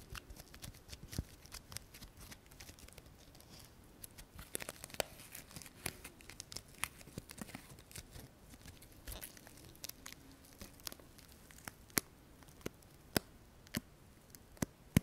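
A dry sola wood flower on a wooden stick stem has its petals and stem scratched and rubbed with fingernails. The result is a quiet, continuous crackle of dry, papery scratching and crinkling, broken by frequent sharp, bright clicks that die away instantly.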